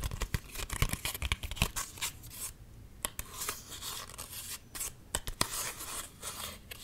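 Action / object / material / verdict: scrape / card-stock greeting card / card stock / none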